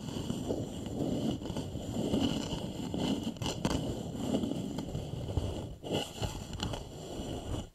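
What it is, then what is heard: Wooden bowl. Both hands scratch and tap the curved outer surface of a small, polished, hollow wooden bowl with fingertips and short nails, the bowl resting upside down over the microphones. A steady, dense scratching rustle with a hollow low body carries throughout, broken by a few sharper taps near the end.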